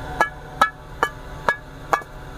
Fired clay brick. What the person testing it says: সাউন্ডটা একটু ফাঁপাটে সাউন্ড এরকম।